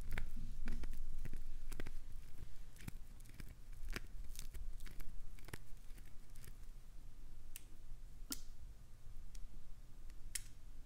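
A solid, translucent green glycerin soap bar held in a palm is scraped and gouged by long acrylic nails. Irregular sharp, bright scratching clicks and crackly tearing sounds land over a steady low rumble, coming roughly twice a second throughout.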